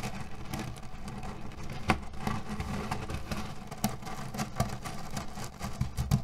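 A small square cotton cushion filled with cherry pits is pressed and rubbed with flat hands, grinding the pits together inside. The sound is a steady low, muffled rustle and crunch, with scattered sharp clicks and brighter crackles as the hard pits shift against each other.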